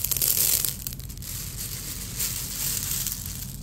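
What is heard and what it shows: A bare hand with fingers spread presses into a large bed of small, solid, marble-sized fired red-clay (hwangto) balls covering a jjimjilbang floor, rubbing and stirring them so they roll and click against each other. The result is a dense, bright, crunchy rattle that is loudest in the first half-second, eases off, then swells again from about two seconds on. A steady low hum runs underneath throughout.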